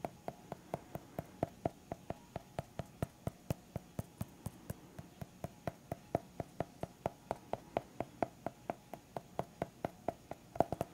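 Fingertips tap steadily on the cover edge of a small white hardcover notepad with a pen clipped on, held flat, giving 48 short, dry, quiet knocks over a faint hiss. Each tap is soft and hollow, centered around 680 Hz with some low body, dying away almost instantly.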